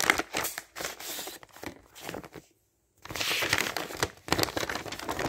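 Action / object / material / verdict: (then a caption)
scrape / thin printed paper flyer / paper / none. Thin printed paper advertising flyer pages, laid flat as sheets on a table, are torn and crumpled by hand. Bright, crackly bursts of ripping and crinkling come in quick succession, stop for about half a second of silence, then resume just as densely to the end.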